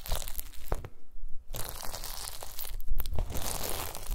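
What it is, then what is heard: Gelatin jelly cubes being crushed. A pile of small pink translucent solid gelatin jelly cubes on a white mesh mat is pressed and crushed with the round end of a wooden masher. Dense, crunchy crackling and squishing continues throughout, with a short quieter gap near the one-second mark before the crushing resumes.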